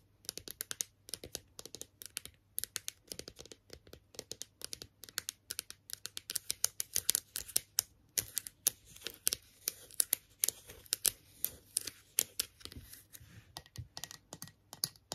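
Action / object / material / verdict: tap / small plastic toy figure / plastic / none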